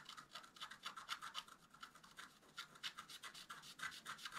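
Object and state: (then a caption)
Stylus scratching scratch-art paper. A wooden stylus scratches dense, rapid strokes across a flat black-coated scratch art paper card held flat by one hand. The result is a quiet, dry, bright scraping with a rasp centered near 1.4 kHz, repeating in short, uneven strokes at roughly four per second, each dying away almost instantly.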